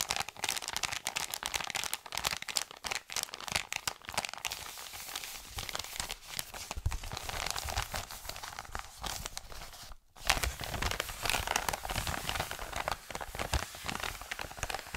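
An Amazon kraft-paper padded mailer is held in both hands and crumpled and crinkled. It makes a dense, continuous run of bright, crackling paper rustles and sharp crunches. The sound drops out briefly for a moment around the ten-second mark, then resumes at a louder level.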